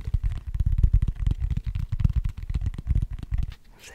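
Fingertips tap rapidly on the flat cork underside of a cork tray held bottom-up near the mic, making a dense run of soft, deep, muffled thumps with almost no ring. The tapping stops just before the end, leaving a faint, quiet hiss.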